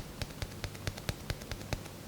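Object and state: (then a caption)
Glass phone back. A finger taps the glass back panel of a Samsung Galaxy S20 Ultra smartphone in a steady, evenly spaced run of short, sharp clicks with very little ring. Each tap has a low thump and a bright top, and it sounds like glass, as expected for the glass back.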